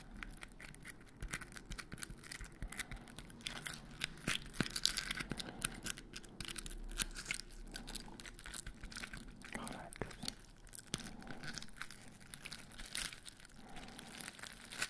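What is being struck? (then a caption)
Glitter-coated foam Christmas bauble. Fingertips and nails scratch and tap the crystal-coated surface of a large white glitter-coated foam Christmas ball with star decorations, held close to the microphones. The result is a dense, irregular stream of bright, gritty scratching and quick dry taps with sharp transients, over a faint steady low hum.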